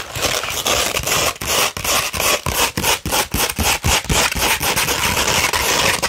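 A coarse 60-grit sandpaper sheet, held flat, is scratched with the long pointed red nails of both hands. The result is a dense, bright, gritty rasping in quick, uneven back-and-forth strokes, about three to four per second, separated by brief dips.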